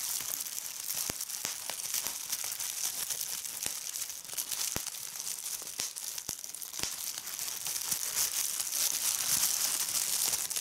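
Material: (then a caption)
Plastic. Clear plastic bubble wrap is gathered and squeezed in a hand with red-painted nails, giving a steady bright crinkling of the film broken by sharp, irregular pops as the bubbles burst. The sound is thin and high with almost no low end.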